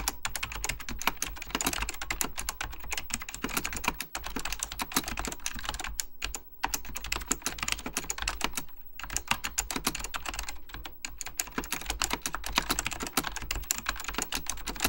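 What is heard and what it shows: Fingertips type rapidly on an Apple Extended Keyboard II, a plastic mechanical computer keyboard with beige plastic keycaps and a hollow plastic case. A dense, steady stream of short, bright clacking key taps continues throughout, with brief pauses near 4, 6.5 and 9 seconds. A faint, steady low hum sits underneath.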